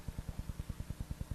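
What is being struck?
Nothing is struck.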